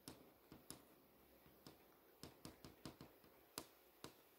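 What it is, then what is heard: LCD monitor screen tapped with nails. Long nails tap and trace over the solid panel of an LCD monitor screen showing text, giving 11 short, sharp clicks with bright highs and very brief ring. Between the taps, a quiet, hissy scraping runs beneath.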